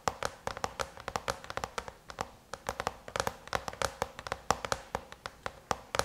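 Long chrome-painted nails rapidly tap on the closed silver aluminum MacBook lid, producing dozens of quick, dry clicks in an uneven rhythm over about six seconds. Each tap is a short, bright tick with a light metallic tone around 770 Hz that dies away almost instantly, with very little low end.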